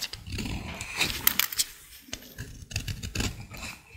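A small utility blade scrapes a dry, solid green bar of soap held in the hand, shaving off curls. Bright, dry scraping crackles come in uneven bursts over a soft low rumble, with a cluster of sharp, crisp ticks in the middle.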